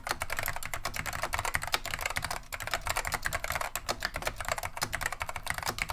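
Continuous fingertip typing with both hands on a beige plastic vintage Wang 725 mechanical keyboard fitted with Alps SKCM Neon Green/Lime switches. The rapid, overlapping keystrokes make bright, crisp clacks that die away almost instantly, over a soft low thump from the plastic case.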